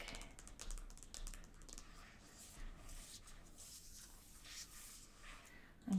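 Long gold acrylic nails and fingertips tap quickly across the glossy paper dust jacket of a large, closed illustrated Harry Potter hardcover edition standing upright on a fabric sofa. The taps are soft, dry clicks that die away almost instantly, ending with one slightly louder tap.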